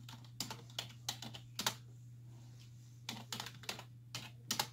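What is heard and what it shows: Long white-tipped nails and fingertips tap the hollow key caps of a black plastic desktop keyboard resting on a wooden desk, making bright, crisp clicks that stop almost at once. Typing comes in two bursts, with a quiet gap of about a second in the middle, over a steady low hum.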